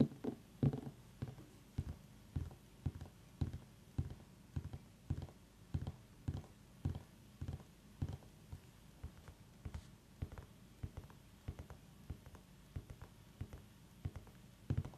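Fingertips and long nails tap and scratch the ribbed rind of a small whole mini orange pumpkin, with an essential-oil diffuser running nearby. About thirty short, dull, low thuds come at an uneven, fairly quick pace, each dying away almost at once. Soft scratchy brushing and a faint steady background hiss sit between the taps.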